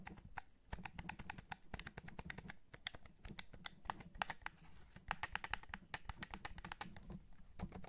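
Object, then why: Plastic game controller. Fingertips press the buttons and tap the shell of a white PS5 DualSense, a hand-sized hollow white and black plastic gamepad held over carpet. Dozens of quick, dry plastic clicks and taps follow each other in an uneven stream, each with a soft low thump and a bright tick that dies out at once.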